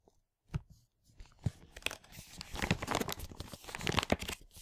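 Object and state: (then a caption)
Plastic packaging bag of loose parts. A large printed plastic LEGO packaging bag from a Hero Factory 44022 set, full of loose parts, is squeezed and crinkled between fingers and thumbs. After a brief silence, sharp crackling bursts build into a dense, crunchy, tearing-like rustle with bright highs and a soft low thump of the parts shifting inside.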